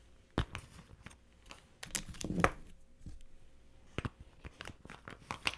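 Long-nailed fingers handle a small, hollow, pink glossy vinyl Hello Kitty cosmetic pouch, pulling its zipper and opening it. Sharp crinkling clicks and taps scatter across the clip, with a louder rasping zip swell near the middle. A faint steady hum runs underneath.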